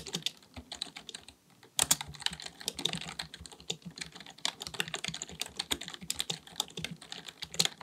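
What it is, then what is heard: Plastic computer keyboard being typed on. A black full-size plastic computer keyboard resting on a desk is typed on rapidly with the fingertips of both hands. Quick, bright, clicky key taps run in a dense stream, with a brief pause just before the two-second mark before the typing resumes.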